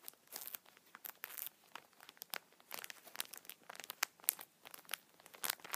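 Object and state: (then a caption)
Plastic-wrapped tissue multipack. Fingertips scratch the top of a plastic-wrapped multipack of tissue packets, then hands squeeze the pack, crinkling the film. The result is a quiet, bright, dense run of sharp crinkles and crackles with no low end, each burst cutting off almost instantly.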